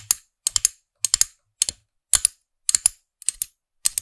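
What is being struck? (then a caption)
Small hard plastic figure-topped pen. Long nails tap the small hard plastic character head of a figurine-topped pen toy, set on a black plastic stem and held in front of a microphone. About 16 sharp, bright clicks come in quick bursts of one to three, each dying away almost instantly with almost no low end.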